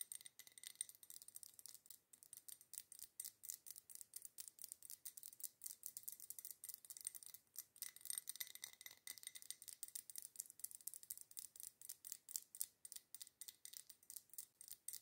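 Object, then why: Wax-filled glass candle jar. Long nails tap rapidly around the outer glass wall of a wide red glass candle jar filled with wax. The result is a quiet, steady run of fast, bright clicking taps that stop almost instantly, with a glassy high ring and almost no low end.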